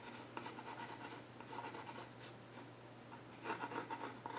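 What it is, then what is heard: Pencil scratching on a wooden stool top. A yellow graphite pencil scratches lines across the flat top of a solid, dark-stained wooden child's stool. Three bursts of quick, dry, bright scratching strokes are heard over a steady low hum, pausing briefly between bursts.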